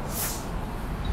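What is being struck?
Nothing is struck.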